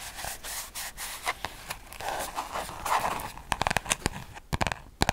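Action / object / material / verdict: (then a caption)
scrape / paper spiral notebook / paper / none. A small orange-covered paper spiral notebook is held close to a microphone while fingertips rub and scratch its cover and pages. Soft, papery rubbing and scraping fills the first half, then gives way to a run of sharp, dry scratches and clicks toward the end.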